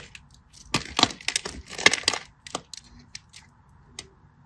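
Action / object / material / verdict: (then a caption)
scrape / solid bar soap scraped with a small metal blade / soap / none. A hand-sized solid green soap bar, held in fingers with short blue nails, is carved and scraped with a small metal blade. Dry flakes and chunks break off in a series of crisp, bright scratching and crackling bursts, with quieter ticks in between.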